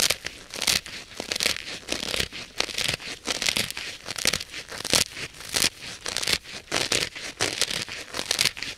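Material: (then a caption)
Polyurethane foam. Long nails scratch and press into the dry, porous, solid polyurethane foam side of a hand-sized blue kitchen sponge. Rapid, irregular bursts of bright, crackly scratching and crinkling come and go, each stroke ending almost at once.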